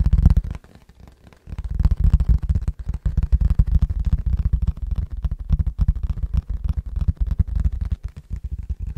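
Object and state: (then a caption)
Empty plastic food container. An empty, clear rectangular plastic food container is held up in both hands and tapped rapidly with the fingertips. The result is a dense stream of dull, low, hollow thuds with almost no high-end brightness, broken by a brief pause near the start.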